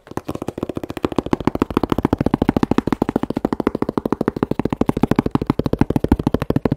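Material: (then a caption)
Cardboard. A hand holds a closed, hollow, medium corrugated cardboard shipping box bearing a UN3481 battery label while long manicured nails tap on it. About fifty quick, dry, hollow taps follow in a fast, uneven rhythm, each a short knock centered in the low-mid range with almost no ring and little brightness.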